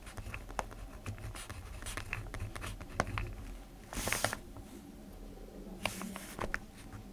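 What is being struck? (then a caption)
Ballpoint pen on lined notebook paper. A black ballpoint pen writes and scratches across the sheet of an open lined paper notebook, making soft, dry scratching strokes with brief ticking taps throughout. Two louder, brighter bursts of scratching stand out, one near the middle and one toward the end, over a low steady hum.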